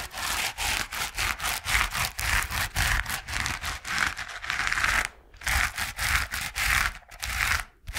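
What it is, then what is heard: Foam paint roller being scratched. A yellow coarse foam paint-roller sleeve, about hand length and hollow with a white plastic core, is held in both hands and scratched and rubbed with the fingertips and nails. It makes a quick, uneven run of dry, bright scratchy bursts centred around 1.6 kHz, with a brief pause just after the five-second mark.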